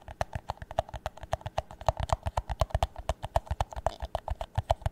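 Fingernails tap the base and side of an empty, hollow clear plastic drinking cup held in the hands. A quick, steady run of about 36 short, dry, hollow knocks follows, each with a low thump, a woody midrange body and a brief bright click, and almost no ring between taps.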